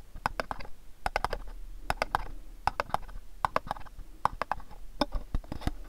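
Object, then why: Cardboard gift box. A long, rectangular, mint-green printed cardboard sock box, hollow and held in both hands, is tapped and scratched with fingertips and nails. Around two dozen quick, dry, hollow clicks land in irregular bursts, with a mid-pitched knock near 850 Hz and faint scratchy rustle between them. Each tap dies away almost instantly.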